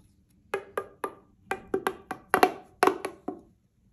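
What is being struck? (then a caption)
Corrugated plastic pop tube. A single hollow, light-blue corrugated plastic pop tube is held in both hands and bent and compressed, with fingertips and manicured nails working it. About a dozen sharp, woody clicks and snaps ring out as the ridges pop, some in quick pairs. Each one has a tonal body around 730 Hz and fades almost instantly.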